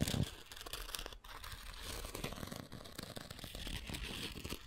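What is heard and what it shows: A thin wooden stick scrapes and scratches across the gritty abrasive surface of a rectangular foam sanding sponge. The result is a continuous, dense rasping texture of quick scratchy strokes with a bright, hissy edge, briefly dipping near the one-second mark before carrying on.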